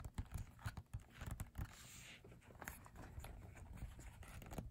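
Fingertips with short nails tap rapidly on a glossy paper photobook page. The taps are soft, dull and low-pitched, with short thuds that die away almost at once. Distinct bursts in the first second and a half give way to quicker, blurred tapping with a faint papery rustle.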